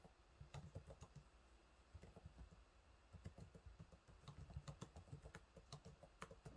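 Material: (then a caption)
Plastic. Fingertips type on the low-profile plastic keys of a silver laptop keyboard, making a quick, uneven run of soft, short taps. The clicks are quiet and dull with a low thump beneath each one, and every tap dies away almost instantly.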